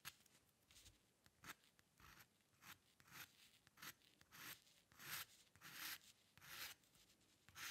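A steel-nib dip pen with ink scratches quick strokes into the upper hair area of a drawing on a flat sheet of white drawing paper resting on a dark table. Each stroke gives a soft, bright, dry scratch, repeating at an uneven pace over a quiet background, with longer rasping strokes toward the end.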